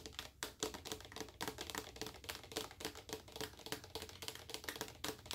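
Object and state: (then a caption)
Plastic lotion bottle (full). Long acrylic nails tap rapidly on the front and sides of a large, full, clear plastic lotion bottle. The taps are quick, irregular and bright, with a clicky attack and very little ring.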